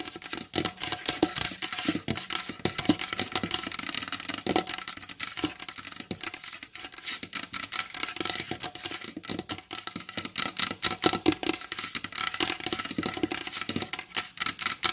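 Very long blue acrylic nails on both hands tap and scratch across a large, solid, varnished wooden tabletop. The result is a continuous, dense stream of quick, bright clicks and scratchy rasps with very little low end. Each tap dies away almost instantly.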